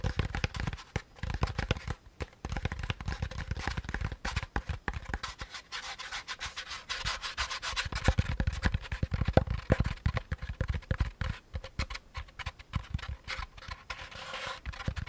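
Fingertips rub and scratch the textured top of a hand-sized, hollow, beige molded paper pulp packaging insert. The result is a dense, continuous run of dry scratchy rustles and soft, quick thuds, with a low-heavy body and a faint bright hiss.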